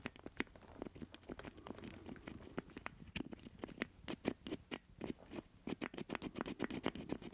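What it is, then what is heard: Plastic joystick controller. Fingernails scratch and tap the casing of a black plastic joystick controller with a hollow square base, held in both hands. Dense, quick, dry clicks and taps mix with soft scratching, each tick short with no ring, over a faint low hum.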